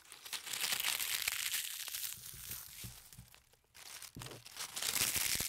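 A small uprooted dried weed with brittle brown leaves is held close to the microphone and crumpled and rubbed between the fingertips of one hand over dirt ground. It makes dense, bright, dry crackling and crinkling, with a brief quiet pause partway through before the crackling picks up again.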